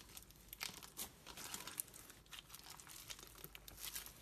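A hand-sized lump of clear glitter slime packed with pastel plastic pearls, flatback gems and beads is pressed, folded and squeezed by fingers with long pink metallic nails on a white surface. It gives a steady stream of quiet, bright, crinkly crunches and sharp little clicks with almost no low end. Each snap dies away instantly.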